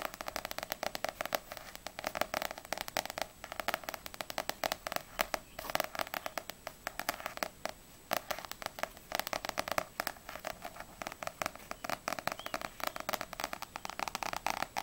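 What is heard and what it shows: A small paperback manga, No.6 volume 3, with a glossy paper cover, is held solidly in both hands and tapped quickly on its front cover with long grey nails. The result is a dense, continuous stream of light, dry clicks with a papery midrange and bright crackling edges. Each tap dies away almost instantly, with brief pauses in the rhythm.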